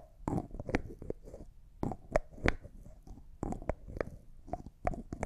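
A small, empty-looking clear glass cosmetic jar with a white plastic screw lid is held in both hands while the lid is twisted and tapped with fingernails. Quick, sharp clicks and taps come in uneven clusters, each with a faint, short hollow ring, mixed with soft scraping from the lid turning.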